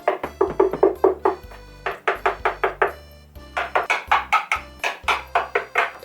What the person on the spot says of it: 高めの、「かんかん」音が抑えられましたね